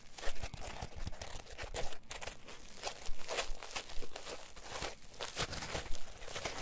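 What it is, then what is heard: Polyethylene foam block. A palm-sized solid green polyethylene packing foam block is squeezed and twisted with fingers and thumbs. It gives off a dense, crinkly creak of short, dry, crackling bursts that swell and fade irregularly, with sharp flares reaching high and a low thumping underneath.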